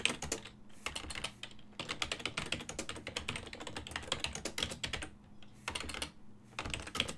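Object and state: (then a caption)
Plastic computer keyboard. Fingertips of both hands type on a full-size black and silver plastic desktop keyboard with keys on a hollow body. The result is rapid, bright, clacky taps with a hollow knock, coming in bursts with brief pauses in between. A faint steady low hum runs underneath.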